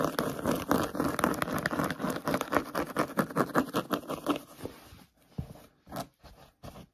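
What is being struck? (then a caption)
Suede boot. Short nails and fingertips rapidly scratch and pat a hollow grey sparkly suede boot with a jewel button and fur trim. Dense, dry scratching mixed with soft, muffled pats runs for about five seconds. It then thins to a few scattered, quieter taps with gaps between them.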